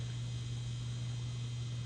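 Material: Nothing is struck.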